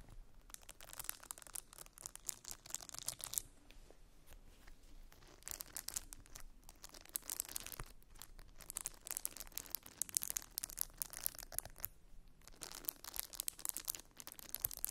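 Long nails scratch and rake through the soft silicone bristles of a handheld round scalp brush with a plastic base. The result is dense, bright, crackling scratching, mostly high-pitched, coming in bursts separated by brief quieter pauses.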